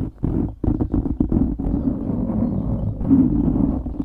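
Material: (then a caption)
Foam. Fingertips scratch the sides of a dark grey foam windscreen on a microphone. The result is a dense, muffled, low rumbling scrape with no bright top end, starting in a few short bursts before settling into a steady rustling drone.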